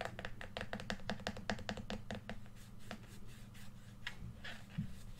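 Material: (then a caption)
Plastic. Fingertips tap and rub the glossy back shell of a hollow red plastic PS4 controller, which is flipped over to show its back. A fast run of quick, dry, clicky taps with almost no ring fills the first three seconds. Quieter scratchy rubbing with a few scattered taps follows, over a low steady hum.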